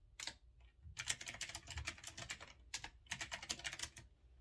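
Fingertips type quickly on a retro typewriter-style mechanical keyboard with round chrome-rimmed keycaps. Bright, sharp clicks come in rapid bursts, separated by short pauses. Each keystroke dies away almost at once over a faint low rumble.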